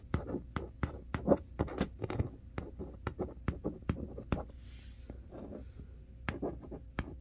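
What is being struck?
Large cardboard box.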